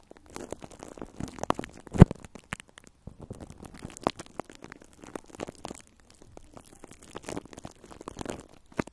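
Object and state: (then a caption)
Cling film over a microphone grille, scratched and tapped. Fingertips and long nails scratch and tap plastic cling film wrapped over a round metal microphone grille. Dense crinkling scratches and quick, dry taps come in uneven bursts with a heavy, muffled low end, one sharp louder tap near the two-second mark, and a brief pause just before three seconds.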